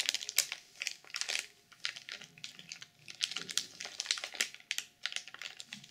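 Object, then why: Sequin-covered journal wrapped in plastic film. Long purple nails tap quickly on the cover of a black sequin journal sealed in clear plastic film. The result is a rapid, uneven run of crisp, bright clicks and crinkly plastic rustle, with almost no low end and each tap dying away almost instantly.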